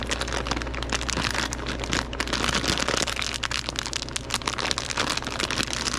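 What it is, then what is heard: Plastic candy bag being crinkled. A hand-sized, partly full clear plastic bag of wrapped taffy is opened, crinkled and squeezed by gloved fingertips throughout. It makes a steady, dense, bright crinkling and crackling with many quick overlapping snaps, over a low constant hum.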